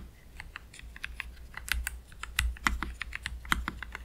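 Both hands type slowly with their fingertips on a low-profile black Keychron K3 Pro mechanical keyboard, with PBT plastic keycaps, Gateron Red switches and a metal/plastic frame, resting on a cloth deskmat. About twenty short, crisp plastic clacks land at an uneven pace, each a quick, dry tap centered around 2 kHz with bright edges and almost no ring. A steady low hum sits underneath throughout.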